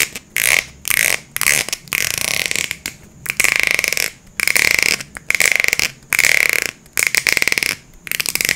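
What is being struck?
Thin plastic water bottle.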